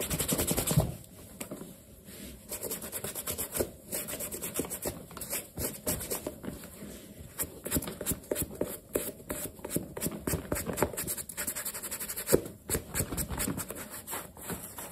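A black leather sneaker with eyelets is held in the hand and rubbed and polished on its side and toe with a yellow cloth over the fingertips. A steady run of soft, brushy rubbing and light scratching strokes follows, with a louder burst at the start and low-mid cloth friction throughout.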